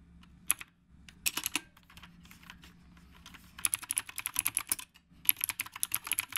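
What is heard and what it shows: Both hands type steadily with their fingertips on a retro typewriter-style mechanical keyboard with round plastic keycaps. The result is a stream of sharp, bright clicks, with a single keystroke, a short burst, a quiet stretch, then two dense runs of rapid typing, each click dying away almost instantly over a faint low hum.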